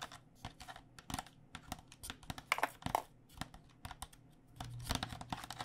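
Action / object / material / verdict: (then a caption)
tap / plastic cycling helmet shell over foam / plastic / none. Long dark nails tap quickly and irregularly on the shell and vents of a hollow white plastic cycling helmet held sideways, its plastic shell over foam. Each tap is a short, dry, bright click that dies away almost at once, over a faint steady low hum. The tapping grows denser and slightly louder near the end.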